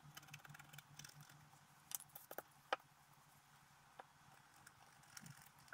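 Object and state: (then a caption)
Scratch-art paper being scratched. A thin wooden stylus scratches away the black coating of a flat scratch-art card with a holographic color base in repeated short strokes, while the other hand steadies the sheet. Soft, dry scraping ticks and brief bright scratches rise over a faint steady low hum, with a few sharper strokes standing out near the middle.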